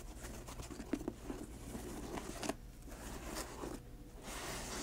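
Long nails scratch the laces and tap the glossy toe of a grey patent leather high-top sneaker. A steady rasp of scratching runs throughout, broken by several short, sharp taps, with bright hiss fading in at the end.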